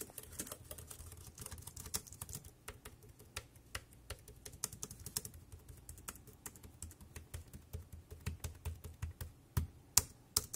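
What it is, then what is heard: Plastic wireless keyboard being typed on. Fingertips press the round keys of a compact, dark grey plastic Bluetooth wireless keyboard with a hollow body, resting on a black plastic bag, at a slower pace. Quiet, irregular clicky taps each pair a bright clack with a low hollow thump and die away almost instantly. A few sharper, louder clacks stand out near the end.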